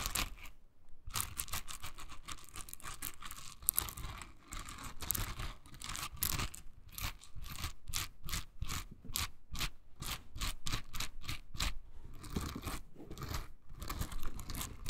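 A hand-sized pink silicone scrubber covered in dense soft bristles is held in the hand while long nails scratch and flick across the bristles. The result is a rapid run of dry, crackly scratching and flicking bursts with a bright, crunchy texture and short, clipped decays. The rhythm is steady but irregular throughout.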